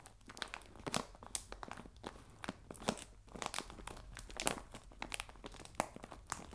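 Fingertips and nails scratch and crinkle the film of a clear plastic bag full of biscuits resting on a table. The sound is a quiet, steady bed of fine crinkling broken by many sharp, bright crackles and crunchy pops that die away almost instantly.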